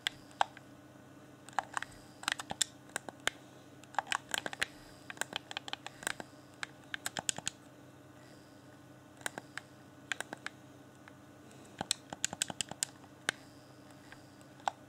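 Fingertips tap and scratch around the buttons of a hand-sized, hollow, transparent plastic Xbox One Afterglow game controller. Quiet, sharp, bright clicks and taps come in quick irregular bursts; each dies away almost instantly, with a brief pause near the middle. A faint steady low hum runs underneath throughout.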